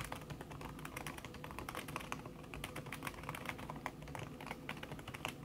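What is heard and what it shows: Fingertips with long red nails type fast on a backlit laptop keyboard in a silver aluminum body, its keys covered by a thin red silicone skin. A rapid, steady stream of soft, muted clicks with brief bright ticks rides over a low background hum, each tap dying away almost instantly.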